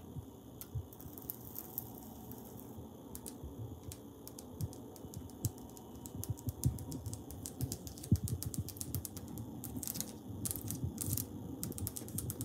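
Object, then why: Ceramic wall tiles. Fingers tap and scratch on tiles mounted on a wall, producing a steady run of quick, dry clicks and scratchy strokes. Short, sharp taps with little ring stand out over a low, rumbling texture, with brighter bursts of scratching toward the end.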